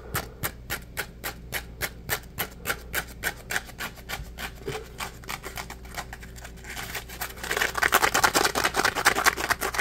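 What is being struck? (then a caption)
Polymer foam scrub sponge. A dry, palm-sized, porous yellow smiley-face Scrub Daddy polymer foam sponge is rubbed and squeezed with the fingertips. Quick, crisp scratchy strokes repeat steadily for about seven seconds, then give way to a louder, denser, brighter rasping scrub toward the end.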